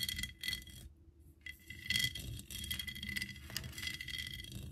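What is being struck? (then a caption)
Ceramic Eiffel Tower figurine. Long acrylic nails on both hands tap and scratch the sides of a hollow ceramic Eiffel Tower figurine or bank, about 25 cm tall, with an embossed lattice pattern and bead studs. The result is a dense run of bright, clicky taps and rough scratches with a faint ringing tone near 2 kHz that dies away almost at once. A brief quiet pause comes just after the first second.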